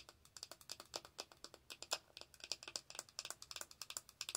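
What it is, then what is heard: Plastic makeup compact. Long acrylic nail tips tap rapidly on a small round plastic powder compact with a clear lid, making about 29 quick, dry clicks in an uneven rhythm. Each click is bright and sharp with almost no low end, and dies away almost at once.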